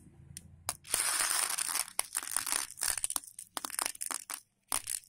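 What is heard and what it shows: Fingertips rub and grab a pile of raw, dry elbow macaroni on a patterned plate, and the hollow pieces rattle and click against each other and the plate. A long, bright crunching rustle is followed by a series of short, uneven clicks and scrapes with brief pauses between them.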